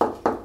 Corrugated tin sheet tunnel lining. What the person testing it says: see if it's hollow or not. ... So the chalk is not pushed against it, so it's not collapsed onto it. So it's sound.